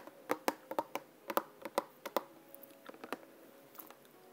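A small clear plastic bottle with a white cap and green label, partly filled with yellow liquid, is held near the ear and tapped with long nails from both hands. About fifteen quick, dry clicks land in irregular bursts, each with a faint hollow ring around 555 Hz that dies away almost instantly against a quiet background.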